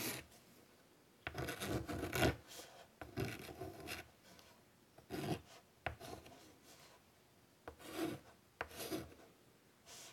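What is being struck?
Chalk on a wood-framed chalkboard.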